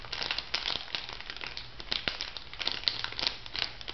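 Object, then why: Small filled plastic foil sachet. A small, flat, pink printed plastic/foil sachet, filled, is crinkled and tapped with long nails. Dense, bright crinkling runs throughout, with sharp clicking taps scattered over it that stop almost at once. There is little low end and the sound stays quiet overall.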